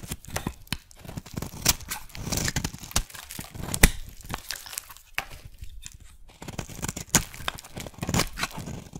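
A metal blade scrapes and cuts across a solid white soap bar with a bumpy surface, shaving off flakes and curls. The result is a run of dry, crumbly tearing and crinkling scrapes in quick uneven bursts, with soft low thuds under a bright crackle.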